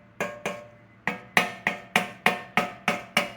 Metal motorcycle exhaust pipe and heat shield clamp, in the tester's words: You can hear a little bit of buzzing on some spots, and that would be your exhaust clamp, heat shield clamp